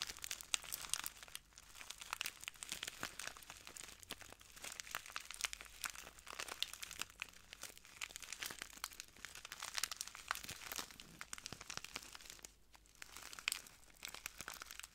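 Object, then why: Small plastic bag filled with clear granules. A small clear plastic bag full of translucent granules is squeezed, crinkled and pressed by the fingertips of both hands. The result is a steady, quiet stream of bright, crisp crinkling and fine crunching, with almost no low end and a brief lull near the end.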